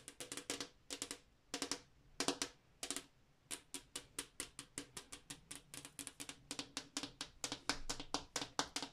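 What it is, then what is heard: Glass wall mirror tapped with fingernails. Long acrylic nails tap a large, flat, solid glass bathroom mirror, with the hands resting flat against the pane. A long series of quick, sharp clicks comes in bursts and then a steadier run, each a bright tick with a faint low tone near 280 Hz. Every tap dies away almost at once, leaving only a very short ring.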